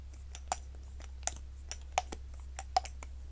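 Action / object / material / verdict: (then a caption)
tap / small hollow silicone cat-shaped cover on a stick / silicone / none. A soft, hollow pink silicone cat-shaped cover on a cosmetic stick, held in the hand, is tapped and rubbed with fingertips and long nails. Irregular short, dry taps and clicks with a muted tone around 750 Hz and bright nail ticks sit over a steady low hum and faint rubbing.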